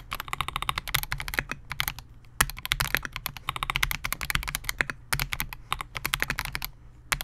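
Fingertips of both hands type continuously on a Melgeek MOJO68, a compact 68-key mechanical keyboard with Gateron G silver pro switches, a clear polycarbonate case and SA-profile plastic keycaps, resting on a desk mat. The result is a rapid, steady stream of crisp, bright clacks with a soft low thud under each press. Each click dies away almost instantly, with an occasional louder keystroke standing out.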